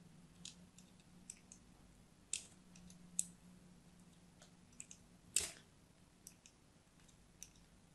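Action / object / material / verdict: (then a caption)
scrape / bar of soap / soap / none. A thin blade scores diagonal lines into the surface of a solid orange-and-white striped soap bar held upright in the hand. Sparse, irregular crisp scratching and cutting clicks, bright and short, sound over a faint low hum, with one louder, longer scrape near the middle.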